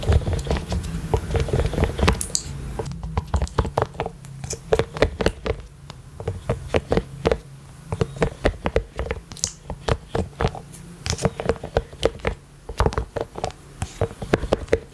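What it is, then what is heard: Silicone collapsible water bottle. A rainbow collapsible silicone water bottle with a pink lid, held upright close to the mic, is tapped with rubber toy hands worn on the fingers. The result is a quick, steady run of soft, dull taps and pats over a low hum, each one short with almost no ring.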